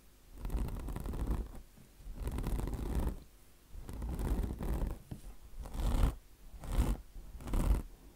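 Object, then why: Mesh-covered foam car wash sponge. Long blue nails scratch across the mesh surface of a foam-filled, mesh-covered microfiber car wash sponge in six rough strokes. Each stroke is a dense, low, raspy scraping that swells and fades, with short quiet gaps between.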